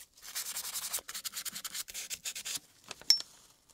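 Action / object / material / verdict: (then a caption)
scrape / steel typewriter typebar basket / steel / none. A small brush dipped in a glass jar of cleaner scrubs across the steel typebar basket of a 1908 typewriter, the solid metal typebar segment held in gloved hands. Rapid, bright, hissy bristle strokes come in quick rhythmic bursts with brief pauses. The clip ends with a few sharp light taps, including one crisp, bright metallic tick.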